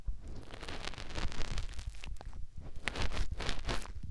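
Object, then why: Silicone ear on a plastic binaural microphone. Fingertips rub and scratch around a white silicone ear mounted on a white plastic binaural microphone housing. The result is close, continuous rubbing and scratching with a heavy, muffled low rumble and brief crackly bursts that flash up into bright, high tones.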